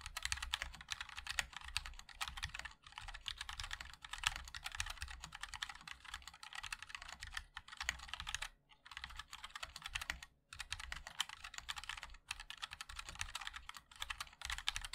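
Fingertips of both hands type continuously on a MOD-L 60% mechanical keyboard with a black aluminium case, white and black ABS keycaps and linear switches. A rapid stream of crisp, bright clacks with a low thock beneath each press dies out almost instantly. The typing breaks briefly twice near the end.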